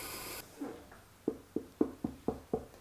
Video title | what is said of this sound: Summit Arts Showcase: Episode 1 | If it sounds hollow, I know it's thin enough. If it sounds dense, it's thick and I need to trim some more.